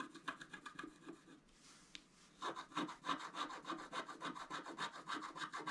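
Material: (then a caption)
Coated paper. A scratch-art paper board, held flat by one hand, is scraped with a wooden stylus in quick back-and-forth strokes. The strokes make a dry, bright rasping sound with a short, quieter pause near the middle. Then the scratching resumes louder and steadier.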